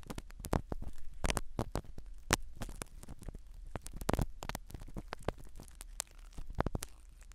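A thin black spiral-tipped ear pick scratches and pokes the foam surface of a small black foam-covered binaural microphone seated in the canal of a skin-colored silicone dummy ear. Close, dry scraping and crackling taps come in quick, irregular bursts over a low, steady hum.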